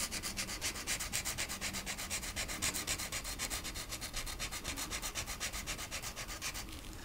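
A marker tip scratches and rubs back and forth on a small, flat, solid wooden cutout ornament shaped like a rocking horse, held flat by fingertips with long nails, while coloring its green rocker. The strokes come in a quick, steady rhythm of about four per second, each a bright, dry scratch. They stop just before the end, leaving a faint hiss.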